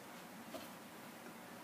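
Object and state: Nothing is struck.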